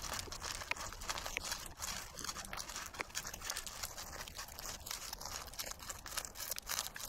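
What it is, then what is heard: Dried sunflower seed head, dry. Fingertips rub and scratch the remaining black seeds out of a large dried sunflower head held in both hands, leaving the fibrous yellowish seed bed mostly bare. The result is a steady, dense stream of dry, bright crackling and crunchy scratching with quick ticks and little low end.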